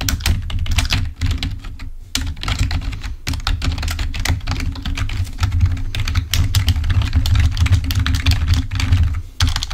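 Fingertips of both hands type rapidly on a full-size, wired, black plastic Microsoft membrane keyboard lying on a white table. A dense stream of short, bright key clicks rides over a steady low hum, with brief pauses near 2 and 3 seconds.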